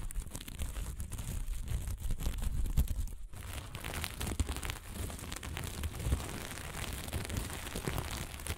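A flat sheet of sequin fabric is rubbed with the hand, pinched with the fingers and scratched with long nails. The result is a steady, dense crinkling and scratchy rustle over a heavy low rumble, with a few slightly louder scrapes.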